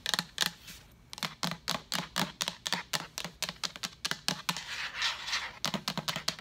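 A large, empty translucent plastic pitcher with a pink lid is tapped with long nails. Quick, bright clicks with a hollow, light body come in uneven bursts and stop almost instantly after each tap.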